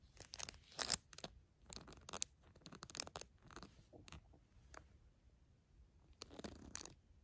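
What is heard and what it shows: A fingertip and long nail scratch and tap the fabric page of a soft pink cloth baby book with a unicorn print and crinkly inner layers. The result is bursts of bright, crisp crinkling and scratchy rustling, mostly high-pitched, with short quiet gaps between them.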